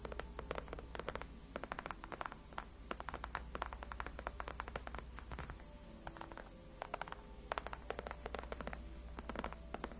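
Long acrylic nails on both hands scratch the upper part of a large, cushioned white padded faux leather gaming chair backrest. Quick, dry scratches and taps come in dense, irregular bursts over a steady low hum, each one very short with almost no ring.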